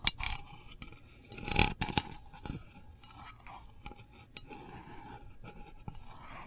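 A long fingernail taps and scrapes the lid of a small, round, printed metal candle tin held hollow in the other hand. Sharp, bright clicks with a brief metallic ring stand out over a soft, scratchy rustle that continues through the clip.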